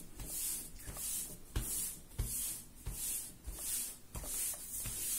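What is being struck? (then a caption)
Soft raisin bread dough. Bare hands knead a large, soft yellow ball of raisin bread dough on a floured marble-pattern counter, pressing and rubbing its surface. Soft, squishy rubbing swells in a steady rhythm, each stroke carrying a bright, airy hiss, with a few dull low thumps as the dough is pressed down.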